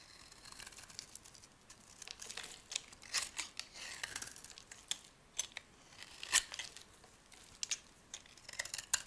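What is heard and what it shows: A solid white oval bar of soap is shaved with a metal blade, and brittle strips break off. Dry, bright scraping and crisp crackling snaps come in uneven bursts, with almost no low end.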